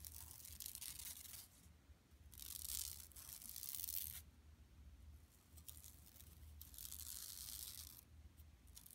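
Long nails scratch the edges and print of a flat, empty yellow woven plastic mesh tote bag lying on carpet. Bright, dry rasping comes in several sustained bursts separated by quieter pauses, over a faint steady low hum.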